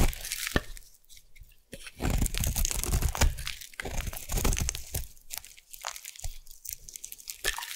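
A solid white bar of soap is carved with a metal blade, producing crunchy curls. Dry crackling, crunching scrapes come in short bursts and longer strokes, with sharp clicks between them.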